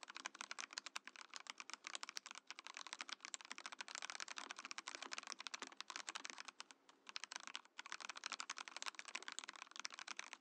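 A compact mechanical keyboard in a transparent acrylic case with cream and orange plastic keycaps is typed on with the fingertips of both hands. Rapid, dense, bright clicky keystrokes run nearly continuously, with short sharp attacks and almost no low end. Brief pauses fall around the middle of the clip.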